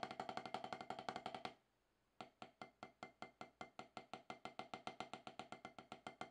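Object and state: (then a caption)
Rubber drum practice pad. Two wooden drumsticks play fast, even strokes on a solid octagonal HQ practice pad with a dark rubber surface, producing short, dry, clicky taps centered around 750 Hz with bright attack. A quick run of strokes stops for about half a second, then a steady stream resumes, for about 41 hits in all.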